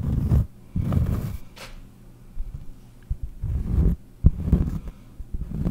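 Long painted nails scratch the surface of a large, round, solid cork trivet held close to the mic. The result is a series of dull, muffled scratching bursts, deep and low with almost no bright content. Quieter pauses fall between the bursts.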